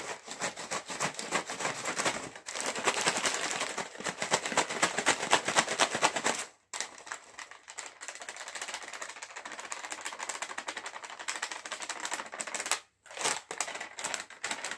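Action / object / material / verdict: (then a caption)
tap / metallized plastic chips bag / metallized plastic / none. A sealed, full, green metallized plastic chips bag is held up near the face and rapidly tapped with fingertips and nails. It makes a fast, crinkly, bright patter of taps, louder for the first six seconds and then softer, with brief pauses near 6.5 and 13 seconds.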